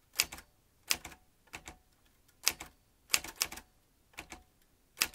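Fingertips tap the keys of a vintage metal manual typewriter with exposed metal typebars and a ribbon spool. About fifteen crisp, bright clacks come in small clusters of two to four, spread over roughly a second apart. Each strike is very short with almost no ring and little low end.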